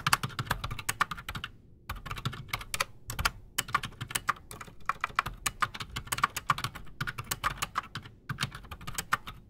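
Both hands type fast with fingertips on a solid, full-size black Redragon K589 Shrapnel mechanical keyboard on a desk, fitted with Outemu Silent Sky silent switches and Razer PBT plastic keycaps. A dense run of short, muted clacks with a mid-pitched click and soft low thumps continues throughout, broken by brief pauses near the two- and three-second marks.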